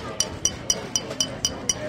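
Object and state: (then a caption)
Full glass bottle. A full glass bottle is tapped seven times at an even pace, giving short, bright clinks that ring near 3 kHz and die away almost at once. A steady low background hiss runs underneath.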